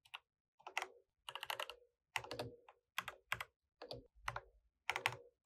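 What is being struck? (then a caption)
Mechanical keyboard with plastic keycaps. Fingertips type continuously on an RGB mechanical keyboard with plastic keycaps, with the mouse sitting idle beside it. Quick bursts of short, bright, clacky keystrokes come in uneven clusters, each click dying away almost instantly, separated by brief silent pauses.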